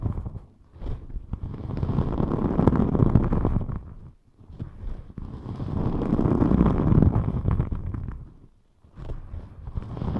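A thin rainbow glitter EVA foam sheet, gripped at the sides by both hands, is scratched with long nails while the fingers flex and rub it. This makes a dense, rough, low-heavy scraping and rustling that builds and fades in three long swells with brief quiet dips between them.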